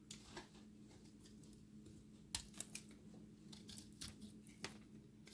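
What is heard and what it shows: A solid, dry recycled soap ball with a cut face showing an orange and blue core is held in the hand and shaved with a utility-knife blade. Short, crisp scraping clicks sound over a steady low hum, some louder and sharper than others, each with a bright, crumbly texture that dies away almost instantly.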